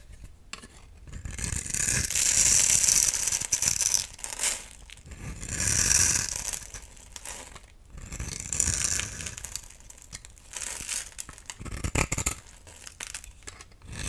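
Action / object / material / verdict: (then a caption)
scrape / bar of soap / soap / none. A solid rectangular pink bar soap with an embossed pattern, held in the hand, is shaved with a utility knife blade. Crumbly pink shavings fall off. The result is a dry, bright scraping and crinkling in repeated strokes that swell and fade, with the loudest passes near the start and middle.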